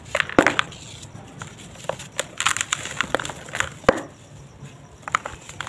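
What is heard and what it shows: Bare fingers squeeze a pale, dry, solid and crumbly sand-cement lump over a red plastic tub holding loose cement powder. Sharp, dry crunches and gritty crackles sound as it crumbles and bits fall into the tub. The bursts are short and bright with little low end.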